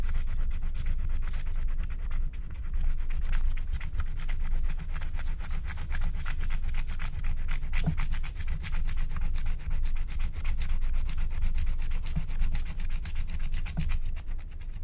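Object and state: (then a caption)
Wax-coated scratch-art card being scraped. A wooden stylus scrapes a flat, thin, black wax-coated paper scratch-art card in dense back-and-forth strokes. The result is a steady, rapid rubbing scratch with a low, rumbling body and a fine, dry texture on top. It holds an even level throughout the clip.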